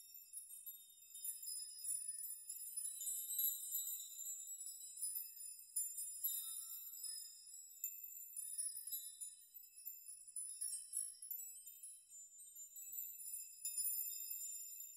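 Hanging metal nails of a nail chime are pushed and rocked with open hands so they collide, producing a steady, irregular shower of bright, high metallic tinkles and chimes with short rings. The sound is quiet and entirely high-pitched, with no low end.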